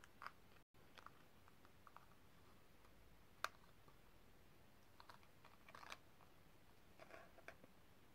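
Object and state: Metal cigarette case, tapped with nails.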